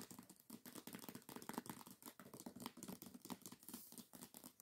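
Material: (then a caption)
Paper. Long nails rapidly tap and scratch the glossy paper dust jacket of a hardcover book lying flat. The result is a quick stream of short, dry clicks over a soft, bright scratching texture.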